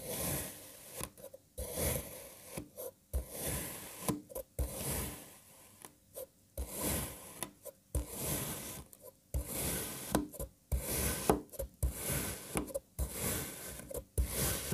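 A knife blade slices a solid lime-green kinetic sand jigsaw puzzle block into thin parallel strips. Each cut gives a soft, gritty rasp with a bright crackly edge, separated by short silent gaps between strokes.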